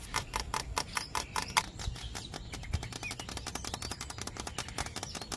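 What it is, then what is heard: Bamboo stalk. Fingertips rapidly tap a hollow yellow bamboo culm near a node, with the hand wrapped around the stalk. The result is a fast, steady run of dry, hollow, woody clicks with a bright tone near 890 Hz, each dying away almost instantly. Birds can be heard faintly in the background.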